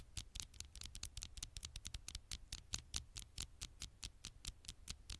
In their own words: 7:08 - 9:44 tiny taps on the screen